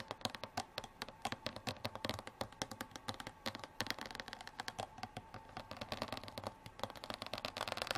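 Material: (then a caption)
Plastic. Long black nails tap and scratch along the ridges of a clear, ridged plastic water bottle with an orange cap, lying on its side and partly filled with water. A rapid, steady stream of short, dry, bright clicks and scrapes sounds throughout, each tap dying away almost instantly with a light hollow plastic tone and little low end.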